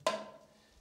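A rock, probably a stone concretion, in the decorated Cougnac cave is struck once, giving a single dry, wood-block-like knock with a mid pitch near 640 Hz and a bright edge. The tone dies away quickly into a faint tail, and the spot is judged to sound cracked, though this is not confirmed.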